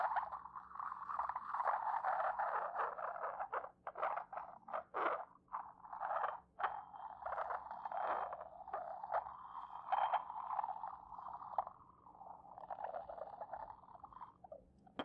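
The side of a porcelain pestle rubs across the base of an inverted, hollow, white decorated porcelain mortar, making a squeaky, friction-heavy scraping tone centered around 750 Hz. The rubbing comes in irregular strokes with brief pauses, swelling and fading unevenly, with no low-end thump and only faint brightness above.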